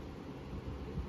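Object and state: Nothing is struck.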